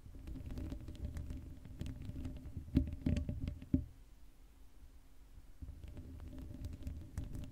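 Long acrylic nails scratch the hollow black metal mesh grille of a Blue Yeti microphone with no cover on it. The sound is a low, rumbling patter of dense scraping with a steady hum near 260 Hz. A few sharper, louder scrapes stand out around the middle before it quiets briefly and then resumes.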